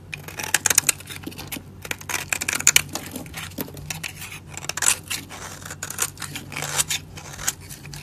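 A solid, dry, light-blue soap bar held in the hand is carved with a metal utility blade into layered flakes, with the shavings crumbling away. A steady run of crisp, bright scraping and crackling cuts rises in quick bursts over a faint low hum.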